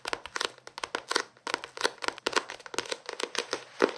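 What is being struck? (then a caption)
Paperback book with card cover and paper pages. A small paperback novel is scratched and tapped with fingertips and nails on its card cover and page edges. The result is a rapid run of short, dry taps and scratchy rustles with bright, papery crackle and almost no low end.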